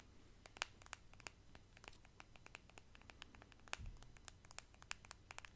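Long nails scratch along the body of a small pale pink plastic cosmetic squeeze tube held in both hands and tap on it. The result is a quiet, steady run of many sharp, crisp clicks and ticks with very short decay, over a low background hiss.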